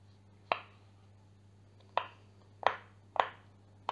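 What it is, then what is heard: Silicone pop-it fidget toy. A heart-shaped, hand-sized pastel rainbow silicone pop-it fidget toy with hollow bubbles is held up in both hands while the bubbles are pressed and popped with the fingertips. Five short, dry popping clicks centred near 1 kHz with a bright edge come at uneven intervals, each dying away almost instantly over a faint steady low hum.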